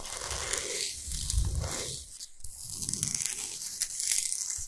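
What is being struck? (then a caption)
Salt block. Long nails scratch fast and hard across a large, flat, solid pink Himalayan salt block. The result is a steady, gritty rasp with bright, crinkly, tearing-like grain over soft low rumbles. It dips briefly near the middle before the scratching picks up again.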